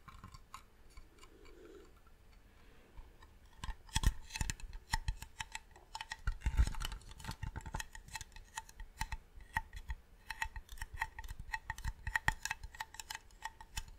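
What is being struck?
Varnished wooden box.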